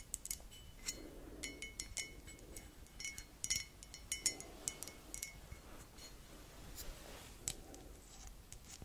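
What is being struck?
Ceramic coffee mug.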